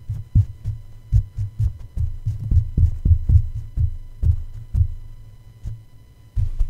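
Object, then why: Metal mesh microphone grille. A plush toy paw taps down repeatedly on the black metal mesh grille of a red condenser microphone with a hollow head. Each tap lands as a deep, muffled thump around 100 Hz that dies away almost instantly, with no bright or metallic ring. The taps come at an uneven, heartbeat-like pace of roughly two per second over a faint steady hum.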